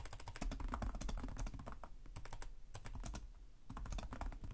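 Fingertips with short nails type continuously on the plastic chiclet keyboard of a black laptop resting on a desk. The rapid key taps produce a dense stream of short, dry clicks with bright tops and a thumpy low body. The typing thins out briefly in the middle before the rapid tapping picks back up.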